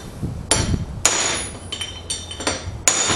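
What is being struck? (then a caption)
Cast steel trailer wheel hub with bearing race. A hollow cast steel trailer wheel hub stands upright on a workbench while a long steel rod (drift) is driven down inside its bore, knocking on the bearing race. Seven sharp metal-on-metal knocks ring out with a bright, high metallic ring that fades between strikes.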